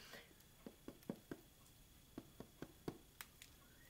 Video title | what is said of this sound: Cooking with Granny Mac Episode 1 | you hear the knock it sounds hollow that means it's ready